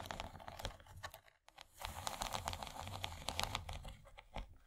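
Long nails from both hands scratch and tap across the bumpy corn-cob texture of an empty, rigid, yellow, corn-shaped plastic serving tray. The sound is a dense run of dry, crackly scrapes and sharp little clicks with bright high edges. A brief near-silent pause comes around a second and a half in.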